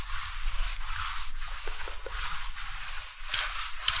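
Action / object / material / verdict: scrape / woven palm-leaf conical hat / dried palm leaf / none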